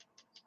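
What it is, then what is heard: RC transmission gear with slight acceptable play. An assembled rear-motor RC car transmission is shaken hard while the diff is held, and its aluminum idler gear moves slightly, giving three faint, light ticks that are high-pitched and brief. The small play is judged acceptable and not worth worrying about.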